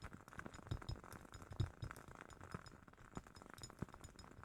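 A glass candle jar with a wooden-wick candle is tapped for ASMR, producing a quick run of soft, short clinks and taps. Each tap is a dull low knock with a faint bright glassy tick that dies away almost at once, and the tapping continues unevenly at a quiet level throughout.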